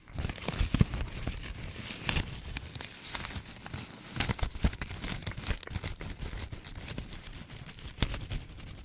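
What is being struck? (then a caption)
Plastic ribbon gift bow. A small red and white plastic ribbon gift bow, held in both hands close to a microphone, is crinkled and scratched with long decorated nails. It makes a dense, steady stream of crackling, crinkling rustles with sharp, bright snaps and soft low handling thumps throughout.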